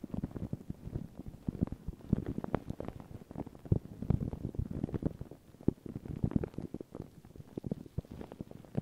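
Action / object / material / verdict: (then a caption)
scrape / paper tissue over a microphone / paper / none. Thin white paper tissue stretched over a round microphone head is scratched and rubbed by long pink nails and fingertips, crinkling the tissue. A steady stream of soft, muffled crinkles and scratchy taps fills the clip, heavy in the low end with little brightness and no ring after each touch.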